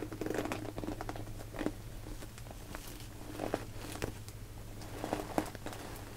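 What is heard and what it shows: Long painted nails and fingertips tap, scratch and squeeze a small translucent pink PVC cosmetic pouch with a purple zipper, hollow with some contents inside, working along the zipper and sides. Quiet crinkly patters and scratchy clicks come in clusters, with a few sharper taps standing out over a steady low hum.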